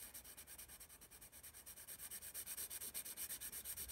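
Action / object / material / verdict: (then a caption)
scrape / graphite pencil on paper sketchbook page / paper / none. A graphite pencil rubs quick shading strokes across the page of a spiral paper sketchbook marked "ASI." About 33 fast, fairly even back-and-forth scratches build a soft, steady rhythm, growing slightly louder as they go. The sound is bright, papery and hissy, with little low end.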